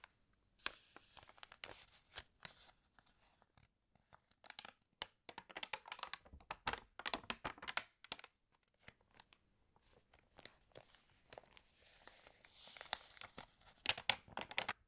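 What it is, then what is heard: Glossy paper magazine. Long-nailed fingertips rub and scratch the pages of an open, water-damaged glossy home magazine lying flat on a green tablecloth, and turn them. The result is bursts of crisp, bright paper crinkling and tearing-like rustles, separated by brief quiet pauses.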